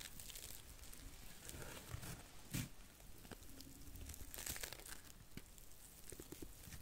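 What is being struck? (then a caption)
Cellulose sponge. A small, porous, dry blue cellulose sponge is bent and scratched with long nails close to the microphone. It gives quiet, continuous crinkling and crushing textures with bright scratchy bursts, and the loudest crunch comes about two and a half seconds in.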